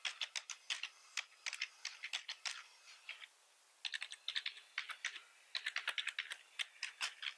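Both hands type fast with their fingertips on a full-size black plastic membrane keyboard with red accent keys, resting on a wooden desk. About 36 short, bright plastic key clicks come in quick bursts with almost no low end. A brief pause falls in the middle before the typing picks back up.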